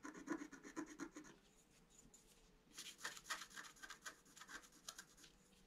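A wooden stylus scratches short strokes across the flower area of a flat scratch-art sheet, black coating over colored paper. Dry, raspy scratching comes in quick bursts at about four strokes per second. A dense run of strokes is followed by a quieter stretch, then a brighter run of scratches that fades out.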